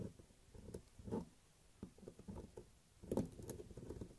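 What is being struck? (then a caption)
Solid bar of soap scraped with a thin metal blade. A thin metal blade scrapes and carves a large solid beige bar of soap held in the hand, sending shavings piling up. Quiet, dry scraping strokes and soft crumbly patter come in uneven bursts, with the fullest cuts near the start and again toward the end. The sound stays low and muffled, with no ring after each stroke.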